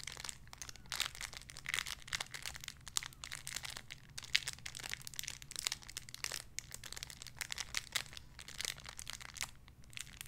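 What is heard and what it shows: A small clear crinkly plastic bag holding a soft pink squishy toy is crinkled with fingertips and nails for about ten seconds. The result is dense, bright, high crackling made of many sharp, dry snaps that die out instantly, over a faint steady low hum.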